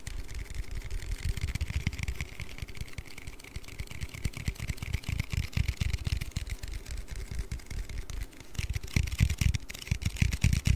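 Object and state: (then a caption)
Aluminium drink can. An aluminium Red Bull energy-drink can is tapped and handled with rapid, closely spaced fingertip taps. The taps give dull, low thuds with short, dry clicks and almost no ring, over a faint steady tone. The tapping speeds up and grows a little louder near the end.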